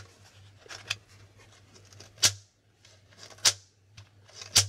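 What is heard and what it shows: Fingertips tap and flip the plastic letter and figure tiles on a plastic Hangman board game held up close. Soft, bright plastic ticks and rustles lead into four sharp, bright clicks that die away quickly. A low, steady hum runs underneath throughout.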